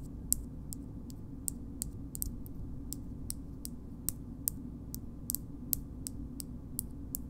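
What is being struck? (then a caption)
Small frosted glass cream jar. A small pink frosted glass cosmetic cream jar, held in the hand, is tapped on its base and side with long nails. Nineteen slow, sharp, high clicks ring out over a steady low hum, each dying away almost instantly.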